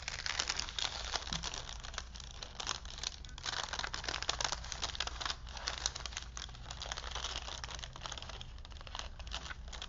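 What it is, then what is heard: Paper film strip crinkled by hand. A long printed paper strip from a vintage paper movie film, stretched between wooden spools and held in both hands, is unrolled and crinkled with the fingertips. Dense, continuous, bright crackling and rustling fill the clip, with a steady low hum underneath.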